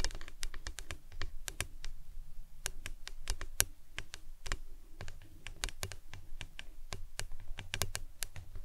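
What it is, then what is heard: Plastic tumbler cup tapped with nails. Long acrylic nails tap and scratch a hollow printed plastic lemonade tumbler with a green lid, standing upright on a towel. Quick, sharp, dry clicks with bright edges come in an irregular, fast patter over a soft low rumble, each tap dying away almost at once.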